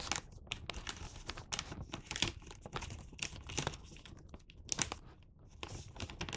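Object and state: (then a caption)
Paper gift bag being creased. Both hands crease and fold the top flap of a red and white Santa-print paper gift bag filled with wrapped sweets, with fingertips and short nails pressing along the paper folds. The result is a steady run of dry, bright crinkles and crackling rustles, with sharper snaps standing out from the softer paper handling.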